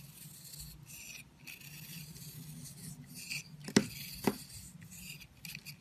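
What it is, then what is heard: Bar soap being carved. A metal utility knife blade shaves and scrapes chunks off a hand-held, palm-sized, solid purple bar of soap that is porous and crumbly. Soft, bright scraping and crumbling rasps run throughout, broken by two sharp, crisp cracks as pieces break away.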